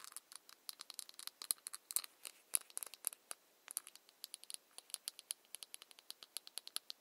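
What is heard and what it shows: Long nails scratch and tap the ridged plastic cap of a small ceramic cosmetic bottle. The result is a quiet, rapid run of about 46 sharp, dry clicks and scrapes, bright and high with no low end and almost no ring. There is a brief pause partway through before the tapping picks up again.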